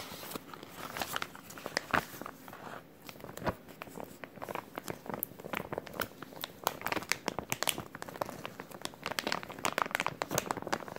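A small, thin, hollow clear plastic zip-lock bag with a green tab is held in both hands while fingertips crinkle and crumple it. The result is a steady stream of crisp, bright crackles and sharp little snaps spread across a wide range, with very little low end. Each crackle dies away almost instantly at a fairly quiet overall level.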